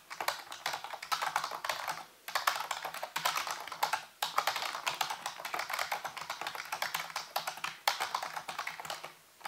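Fingertips type rapidly on a full-size black plastic computer keyboard with hollow keys set on a white base. Dense, bright, clicky key taps come in bursts with brief pauses, each tap short and dry with a clacking tone around 1.1 kHz and almost no low end.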